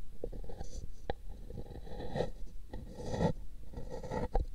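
A long thin brush sweeps across the surface of a hollow pink paper cup resting on a microphone ear, making dry scratching, rasping strokes. The sound is mostly low and hollow, with short brighter ticks where the bristles catch.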